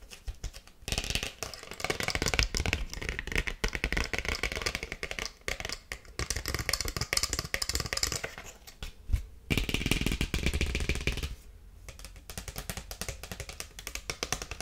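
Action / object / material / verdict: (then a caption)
scrape / paper greeting card / paper / none. Long nails tap and scratch a small paper (cardstock) greeting card in a dense run of quick, dry taps and scratchy rasps. The bursts come in irregular clusters with short pauses between them, and the sound eases off for a moment near the end before picking up again more softly.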